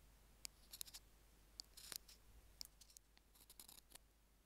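Metal tweezer tips tap and scratch the surface of the small white plastic in-line mic remote of Apple earphones lying on a jade stone. Quiet, sharp, bright ticks and brief scratchy rustles come at an irregular pace and stop dead with no ring. A faint low hum sits underneath.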